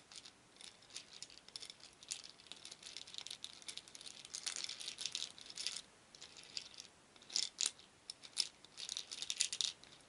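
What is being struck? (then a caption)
Small wooden beads in a wooden bowl. Many small painted wooden beads in a shallow wooden bowl are stirred with a wooden spoon, rattling against each other and the bowl. The sound is a soft, continuous, bright clicking with no low end, swelling and easing in waves, with a few sharper, louder clicks standing out near the end.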